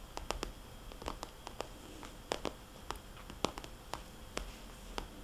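Fingernails on both hands tap a small, glossy red polka-dot vinyl cosmetics bag, producing soft, hollow clicks. The taps are short and dry with bright edges, spaced irregularly over a low background hiss.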